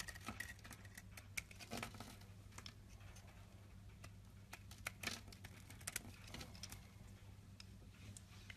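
A rectangular solid white soap bar held in the palm is scraped and scratched with a box-cutter blade, raising fluffy shavings. Quiet, uneven dry scratching and brief bright ticks and crackles sit over a steady low hum, with a few sharper clicks standing out.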